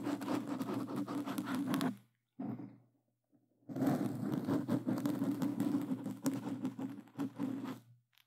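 Plastic claw glove tips scratch rapidly across a black foam microphone cover, making a dense, rough scratching rustle with a low, boomy body. The scratching runs for about two seconds, stops briefly with a short fading scrape, then resumes in a longer continuous burst.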